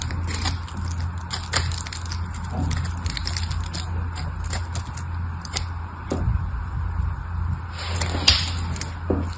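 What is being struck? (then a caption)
Bar of soap. A craft knife blade scrapes and cuts flakes off a palm-sized red solid bar of soap with a crackled surface, held in the hand. Crisp, crackly scrapes and sharp cracks with a bright hiss sit over a steady low hum throughout.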